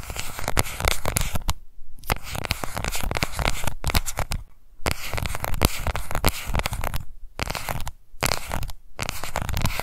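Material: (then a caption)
Plastic. Long nails tap and scratch the base and edge of a small pink plastic cushion foundation compact. Dense, rapid clicks and scratchy rubbing come in crisp, dry bursts with a bright edge and no ring. A few brief pauses break up the steady run of taps.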